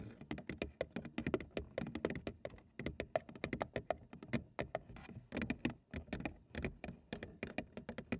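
A large, hollow printed cardboard cereal box is held at the sides and tapped rapidly along its front and edges with long acrylic nails. The result is a quick, uneven patter of dry, short clicks and hollow taps with a mid-range tone near 645 Hz. Each tap dies away almost instantly.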